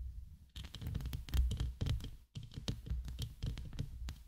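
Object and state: Metal mesh microphone grille.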